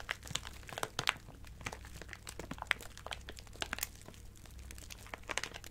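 A small clear plastic bag full of colorful acrylic craft gems is squeezed and crinkled with fingertips and long nails. Dense, bright crinkling is punctuated by many sharp, quick clicks and crunches as the gems shift, over a steady low hum.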